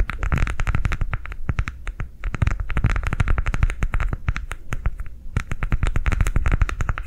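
A green ridged silicone coaster, rolled into a hollow cylinder and held upright, is tapped and scratched with long nails. The rapid, dense taps give deep, low-heavy thuds with short, dry decays and crisp, bright clicking on top. The tapping runs almost continuously, with brief lulls near 2 and 5 seconds.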